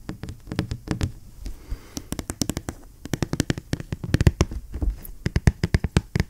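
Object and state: Cardboard box tapped with fingers.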